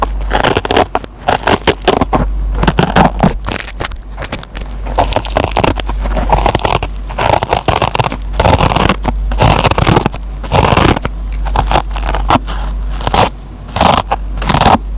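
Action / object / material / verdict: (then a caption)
scrape / kitchen sponge with green nylon scouring pad / nylon fibre / none. A metal pen tip scratches and plucks the fibers of a dry kitchen sponge with a green nylon scouring pad. Dense, rough crackling and scraping run almost continuously, with quick fibrous snaps and short bursts over a low, steady rumble.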